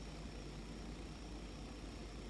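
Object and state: Nothing is struck.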